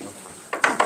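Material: Dried pepper.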